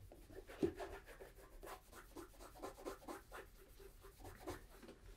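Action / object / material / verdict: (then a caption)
scrape / leather boot rubbed with a cloth / leather / none. A hollow, empty tan polished leather brogue boot, a Tricker's Stow in Acorn, is held in one hand and rubbed with a cloth wrapped around the fingers to polish the toe and upper. Quiet, rhythmic, dull rubbing strokes sit in the low-mids with little brightness, and one louder scuff comes early on.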